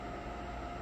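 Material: Nothing is struck.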